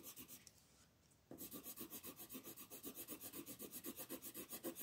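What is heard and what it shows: A wooden colored pencil shades a flat paper coloring page in fast back-and-forth strokes, making a repeated scratchy rubbing with a bright, papery rasp. A few quick strokes are followed by a brief, near-silent pause, then the shading resumes at a steady, rapid rhythm until the end.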